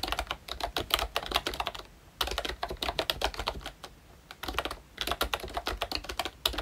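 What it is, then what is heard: Plastic membrane keyboard. Fingertips of both hands type on the pink plastic ROYCHE Disney Mickey Mouse retro membrane keyboard with round black keycaps. The result is a rapid stream of short, bright, clacky key taps with little low end, broken by two brief pauses.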